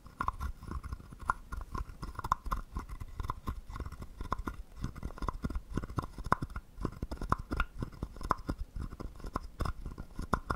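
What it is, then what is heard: Wooden frog guiro. A wooden stick is rubbed along the ridged back of a small, hollow, carved wooden frog guiro. It makes a dense, rattling scrape of rapid clicks with a woody tone near 1 kHz and soft low thumps, with a louder accent roughly once per second in a steady rhythm.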